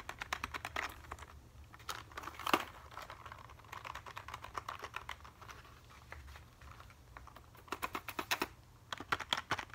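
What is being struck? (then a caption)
Plastic computer keyboard. A black plastic computer keyboard is held upright while fingertips tap and scratch across its keys. The result is a quick, uneven series of sharp, bright plastic clicks with brief scratchy passages between them. A short loud click rings out about a quarter of the way in, and a denser run of clicks follows near the end.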